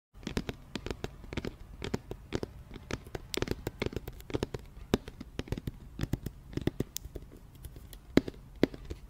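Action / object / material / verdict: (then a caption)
tap / round cardboard box / cardboard / none. An empty, hollow, medium-sized round white cardboard flower box with a printed label is held up beside the microphone and tapped with fingertips and nails. A quick, irregular stream of dry, short taps and clicks is heard, each dying away almost instantly, with a hollow low-mid body and light, crisp edges.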